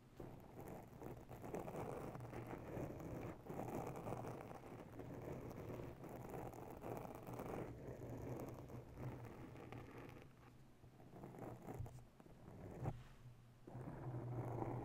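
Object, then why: Foam microphone windscreen. Long natural nails of both hands scratch slowly over a round grey foam ball windscreen on a microphone. The result is a continuous, muffled, low rustling and scraping with a steady low rumble and very little high-end. It dips quieter briefly around the ten- and thirteen-second marks before swelling again.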